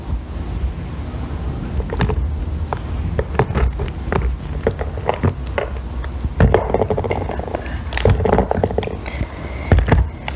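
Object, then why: Small bar of soap scraped with a metal loop tool. A metal blackhead-remover loop tool scrapes and shaves a small remaining piece of solid green bar soap held between fingers with long painted nails. Irregular, short, dry scraping clicks and soft thunks sound over a low, murmuring background. Denser crumbly shaving comes in bursts, and a faint thin whistle-like tone briefly appears near the end.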